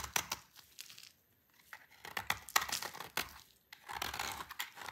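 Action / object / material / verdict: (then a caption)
scrape / bar of soap cut with a blade / soap / none. A solid, dry, dark green bar of soap held in the hand is cut and shaved with a utility knife blade. Crisp, bright scraping and crackling strokes come in irregular bursts, broken by brief quiet pauses as the blade works through the hard soap.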